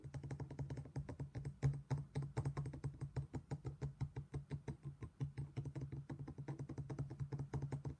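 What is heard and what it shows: A matching black stone pestle, held in the hand, knocks and taps inside an empty black stone mortar, a hollow thick-walled bowl. A rapid, steady run of short, dull knocks carries a low hollow tone around 140 Hz, and each tap dies away almost at once with little ring.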